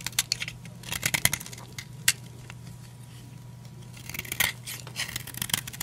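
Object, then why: Bar of soap cut with a blade. A utility knife blade repeatedly shaves and cuts a solid, old, dry blue oval soap bar held in the palm, crumbling it. Crisp, bright scraping and crackling bursts cluster near the start and again near the end, with a quieter stretch of softer scratching in between. A faint steady low hum runs underneath.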